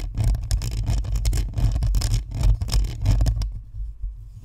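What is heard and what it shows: Long nails scratch across the top of a white spherical Blue Snowball microphone, raking both its hollow plastic shell and its perforated metal grille. The result is a dense run of rapid, uneven scratchy strokes with a heavy low rumble underneath and bright crackling on top. The scratching stops at about 3.5 seconds, leaving only a faint low hum.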